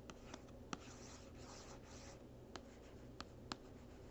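The capped tip of a plastic marker traces and scratches the back panel of a small, hollow, printed cardboard gift box held still by one hand. Six short, sharp taps stand out, and a soft, bright scratching rasp runs steadily through the middle of the clip. Everything stays quiet, with no ring after each tap.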